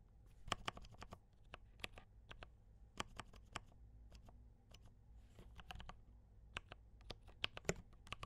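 Both hands type with their fingertips on a compact D84 mechanical keyboard with brown switches and cream and red plastic keycaps. Quick, irregular clacks and bright clicks ring out over a steady low hum, each keystroke dying away almost at once.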